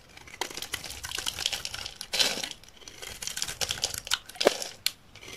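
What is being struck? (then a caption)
Olive oil soap bar shaved with a knife blade. A solid, dry green olive oil soap bar held in the hand is repeatedly shaved with a utility knife blade, peeling off layered flakes. Each stroke makes a crisp, bright scraping crinkle, arriving in irregular bursts with one louder rasp near the middle and sharper cuts toward the end.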